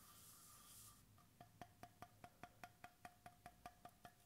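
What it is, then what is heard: Bamboo cap on a steel bottle. Fingertips tap the bamboo wooden cap end of a stainless steel bottle, making 14 quick, evenly paced knocks after a second of soft hiss. Each tap is a short, dry, hollow tock with a clear mid pitch near 700 Hz that dies away almost at once.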